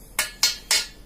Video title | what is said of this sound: Review Knalpot Terbaik Ninja RR 150, Knalpot Ori Bobokan | lebih oke suaranya nyaring nyaring